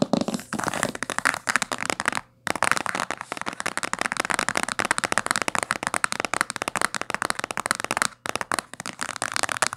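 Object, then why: Cloth-covered hardcover book. Long fingernails tap and scratch quickly on the spine and top cover of a thick, dark blue cloth-bound hardcover book. The result is a dense stream of crisp, dry clicks and scrapes with bright, papery texture and almost no low end. The stream pauses briefly twice.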